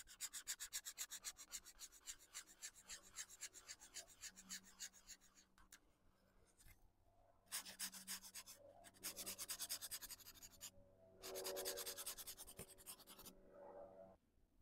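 A felt-tip alcohol marker, held in fingertips with dark long nails, is rubbed back and forth in shading strokes across a paper colouring book page lying flat on a wooden desk. The result is a quick, bright, scratchy rubbing of rapid strokes, with short pauses between bursts.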